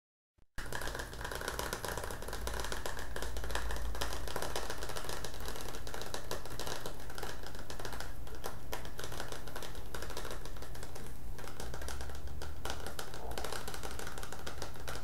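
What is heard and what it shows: A hand-sized, hollow, green printed metal Milo tin with its lid on is held in both hands and tapped rapidly with the fingertips on its side and top. After a brief silence, the fast tapping blends into a steady, dense clatter with a strong low, hollow resonance that holds for the rest of the clip.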